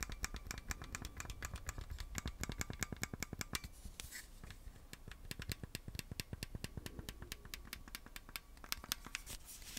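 Red and blue plastic Nintendo Switch Joy-Con controllers, attached to a black plastic grip that is hand-sized and hollow, are held in both hands and tapped and scratched with fingertips and nails. A steady run of quick, dry, clicky taps with bright, short-lived tops continues over a soft low rumble, broken around the middle by a brief stretch of scratchy rubbing.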